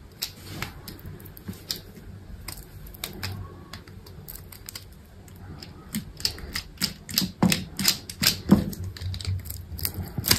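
A solid white bar of soap, held in the hand, is scored and cut into cubes with a utility knife blade. Crisp, bright clicks and scratchy scrapes come irregularly over a low background hum, sparse at first, then denser and louder in the second half.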